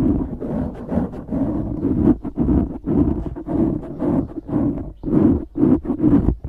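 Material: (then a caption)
Foam. Fingertips scratch and squeeze a black foam windscreen on a microphone. The result is a steady run of dense, muffled rustling and crunching bursts, with low-mid energy around 270 Hz and little high content. The bursts rise and fall irregularly at about two per second.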